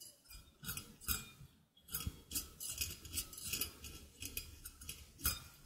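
Dark-painted fingernails pluck and scratch across the thin, taut steel cutting wires of a handheld stainless steel egg slicer with a hollow open frame, held close to the mic. An irregular run of bright, metallic twangs and scrapes, each decaying quickly, sits over a soft low body thump.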